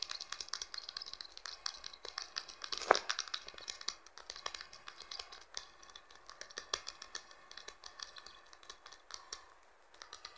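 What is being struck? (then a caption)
Plastic smartphone back cover. Fingertips and nails tap rapidly on the plastic back cover of a blue Infinix smartphone lying on cloth. The dense, quick, light clicks sound dry and bright with almost no low end, and one louder tap stands out near the three-second mark.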